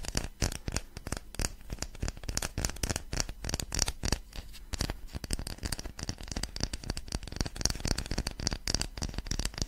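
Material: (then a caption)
Wood. Long fingernails rapidly tap and scratch a small, light-coloured rectangular block of solid wood held close to a microphone. The result is a dense stream of short, dry clicks and scrapes with a low, close-up thump beneath a bright, crisp scratching texture.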